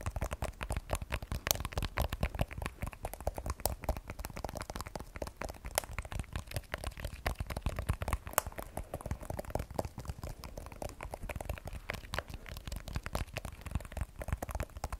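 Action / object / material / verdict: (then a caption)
tap / smartphone with glass back and steel frame / glass / none. Long nails tap rapidly and continuously on the glass back of an iPhone 12 Pro with a steel frame, held sideways in both hands. The taps are dense, short clicks with no ring, forming a steady crackling patter that is fullest in the low end, with occasional brighter, sharper ticks.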